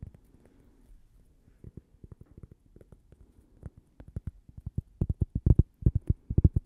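A thin, solid, toast-shaped cork coaster is tapped and scratched with long painted nails, both on its face and along its edge. Soft, dull, low taps come in quick, uneven runs, starting faint over light scratching and growing louder and more frequent toward the end, each one dying away almost instantly.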